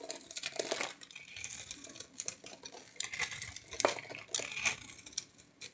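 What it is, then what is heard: Soap bar being scraped. A palm-sized, solid, orange-and-white striped soap bar with a starch coating is held in one hand and carved and scraped with a metal knife blade, shavings flaking off. Dense, bright scraping and crackling run throughout, with sharp clicky bursts and little low end.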